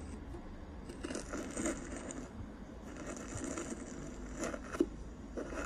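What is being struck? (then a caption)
Metal mesh microphone grille brushed with a soft brush. A soft black makeup brush held in the fingers is rubbed and brushed across the hollow silver metal mesh grille head of a handheld karaoke microphone. The result is a steady, close, scratchy rustling with a low rumble underneath, broken by a few brighter, sharper scrapes that rise briefly above the texture.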